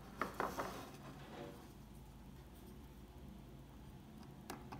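A solid rectangular bar of old, dry, translucent yellow-amber soap is held in the hand while a thin metal pick scratches and picks at its surface, flaking off crumbs. Five short, crisp crunching clicks are heard: three close together at the start, then two more near the end, over a quiet, low hum.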